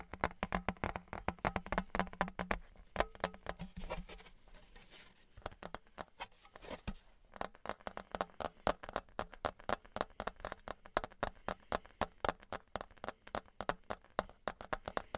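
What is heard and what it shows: Fingertips and nails tap rapidly on the embossed face of a thin, flat Patriots novelty license plate, likely stamped aluminum, held in both hands close to the mic. The short, dry, clicky taps carry a midrange tone around 600 Hz with no ring. They ease into a quieter, softer patch in the middle before the steady, dense tapping resumes.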